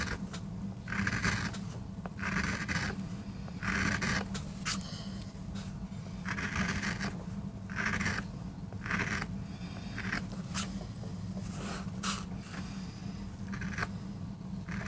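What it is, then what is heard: MDF block being carved with a gouge. A steel gouge carves shallow grooves into the inked surface of a small, flat, solid MDF board resting on a rubber mat, braced by fingertips. Short, repeated scratchy scraping strokes with a bright, gritty edge come in bursts over a steady low hum.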